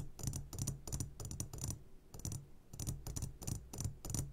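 A medium glass jar, turned upside down and full of sugared gummy candies, is tapped on its sides with the short fingertips of both hands. Quick, irregular bursts of bright clicking taps ride over a low, dull thump, each one dying away fast.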